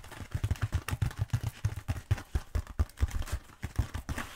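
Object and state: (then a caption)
Foam roller. Long pointed acrylic nails tap rapidly on a long black bead foam roller, producing a quick, uneven run of about 26 short, dull, low thuds. Each tap is dry and dies away almost instantly with no ring, and there is very little high or bright content.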